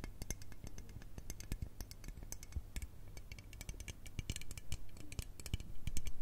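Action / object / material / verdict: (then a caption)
tap / aluminium aerosol spray can / aluminium / none. Long red nails tap and scratch along the length of a teal L'Oreal aluminium aerosol spray can with a hollow metal body. Rapid, dry, bright ticks and clicks sound over a steady low hum, with very little ring after each tap. The tapping grows louder toward the end.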